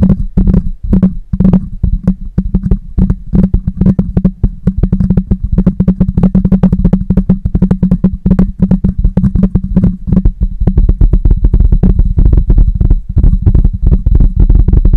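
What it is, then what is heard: Metal mesh microphone grille. Both hands grip a medium-sized black condenser microphone on a stand and quickly tap and scratch its hollow metal mesh grille with short rounded fingernails and fingertips. The result is a dense, continuous stream of close, booming thumps and scrapes with very short decay, heavy in the low end over a steady low hum, running without a break for the whole clip.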